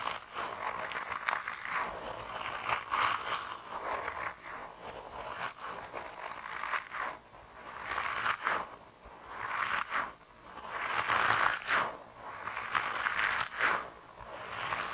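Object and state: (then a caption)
Soft rubber squishy toy. A hand-sized grey soft rubber mouse toy, solid and flexible, is squeezed and rubbed with both thumbs. It makes repeated squeaky, scraping rubs in uneven swells, with a mid-pitched squeal and bright crackly edges. There is almost no low end.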